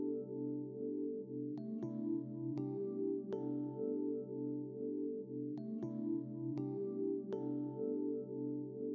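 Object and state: Nothing is struck.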